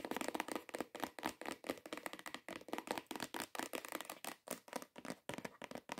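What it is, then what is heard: Hollow cardboard perfume box. Long nail tips and fingertips tap quickly on a hollow, cream cardboard perfume box. The result is a quiet, rapid, uneven stream of dry clicks and papery taps with a bright edge, almost no low end, and no ring after each hit.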